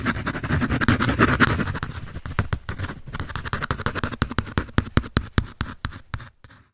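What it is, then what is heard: Pencil scratching on a paper sketch pad. A pencil tip rubs and scratches across the shaded surface of a thin, flat sheet on a large white drawing pad with a red cover, held in both hands. A dense, continuous scratchy rubbing gives way to quicker, separate strokes that grow more distinct, then fade out at the end.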